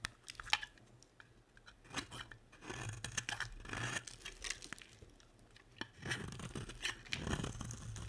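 A box-cutter blade scrapes and carves shavings off a solid, dry, hand-sized bar of soap, black with white stripes, held in one hand with long painted nails. Soft, crisp scraping and crunchy shaving strokes come in short bursts, with bright crackly detail and a light low rumble beneath, each stroke ending quickly without ringing.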